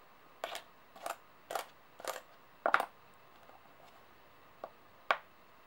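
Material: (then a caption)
Metal. Long nails and coin edges tap and click on solid metal coins lying on a table. Seven short bursts of bright, dry metallic clicking stand out against quiet background hiss, each fading almost instantly, with a pause before the last two.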